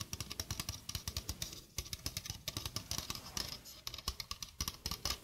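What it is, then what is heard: Stainless steel mesh sink strainer. A small, empty, domed stainless steel wire-mesh sink strainer with a dark rubber rim is held in one hand while long painted nails on the other hand scratch and tap the mesh. A rapid run of short, bright metallic ticks and scrapes sounds over a low hum, each tick dying away almost at once.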